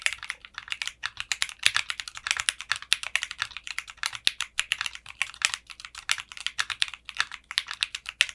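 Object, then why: Mechanical keyboard with plastic keycaps and case. Fingertips type on a mechanical keyboard with clear pink polycarbonate keycaps and a translucent case. About sixty crisp keystrokes come in a quick, steady run. The clacks are bright and sharp, with almost no low end, and each one cuts off almost instantly.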